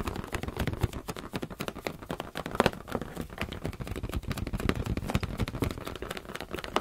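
Fingers tap rapidly on a rubber balloon in a dense, steady stream of soft, hollow thuds. The taps are short and dry with no ring, and most of their weight sits in the low end with little brightness.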